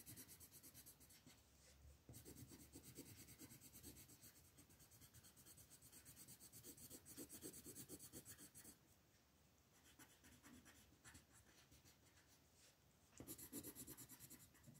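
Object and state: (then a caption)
Colored pencil shading on a paper page. An orange wooden colored pencil, held in fingertips with long painted nails, rubs and shades over a thin printed paper coloring page lying flat on a wooden table. It makes a steady, scratchy, bright rasping in rapid repeated strokes, softening for a stretch in the middle before growing louder again at the end.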